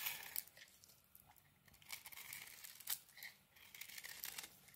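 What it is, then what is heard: Dry bar soap being shaved. A small metal blade shaves thin strips off the edge of a dry, solid pink bar of soap held in the hand. The cuts make crisp, bright, papery scraping and crinkling sounds, with a few sharper crunchy peaks standing out above the soft, dry rasp.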